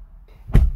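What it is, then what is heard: Solid-sounding car door. A car door on an MG HS EHS plug-in hybrid SUV is shut once with a deep, solid thud that is heavy in low frequencies and dies away quickly. There is no thin, tinny rattle, which points to good build quality.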